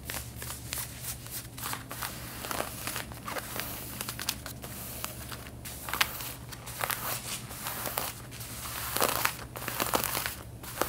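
Long red-painted nails scratch the back pockets of worn light blue denim jeans in a quick series of short, bright, rasping strokes over a steady low hum. The strokes come in uneven bursts of dry, crackling fabric texture throughout.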